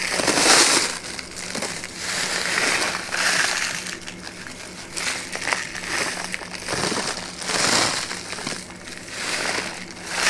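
A flat brown kraft paper bag with a label, held in one hand, is shaken, flexed and crinkled. The result is a dry, bright crackling and rustling that swells and fades in repeated waves, with sharp crisp snaps between them.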